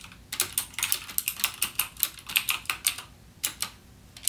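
Fingertips type steadily on a backlit mechanical gaming keyboard with plastic keycaps and clicky Cherry MX Blue switches. Sharp, bright clicks come in a quick, uneven run, each dying away almost at once, with very little low end. There is a brief pause just past the three-second mark before the typing resumes.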